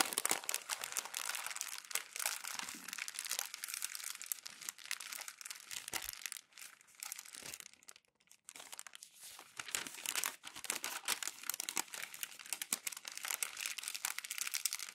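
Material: Paper.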